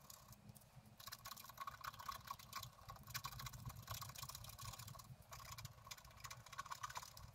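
A wooden stylus scratches a flat black-coated scratch art paper card lying on a table, working near the top branch of the design. Dense, bright scraping strokes rasp in quick succession, with a faint low rumble underneath.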